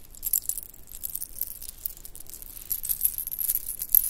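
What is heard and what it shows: A bracelet of pink shell chips, white round beads and metal spacers is stretched and twisted in both hands, and long nails make the pieces clink and rattle against each other. The result is a quiet, steady stream of bright, high-pitched clicks and tinkles with almost no ring, growing a little louder toward the end.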